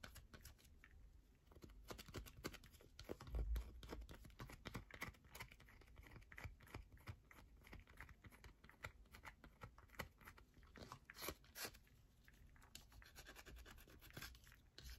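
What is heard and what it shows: A solid, partly worn yellow bar of soap is held on its side while long nails rapidly scratch and tap its edge. The result is a dense stream of quick, dry clicks and scrapes with a low thumpy undertone and brief bright ticks. A slightly heavier bump comes in around the third second.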